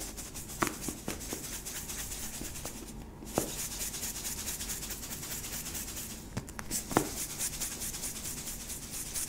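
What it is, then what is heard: Plastic sweetener tub, partly filled. Long nails rub steadily along the side of a medium yellow, hollow, cylindrical plastic sweetener tub partly filled with powder, making a bright, continuous scratchy hiss. The tub is then moved and shaken, and sharp little clicks and taps stand out above the rubbing.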